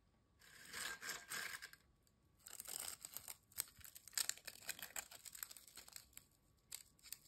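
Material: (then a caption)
Fried potato. Thin, dry, crisp ridged potato chips are broken apart by fingertips over a glass bowl holding chip fragments. Two bright, crackling bursts of snapping are followed by a long run of sharp, high crunches and small clicks with almost no low end.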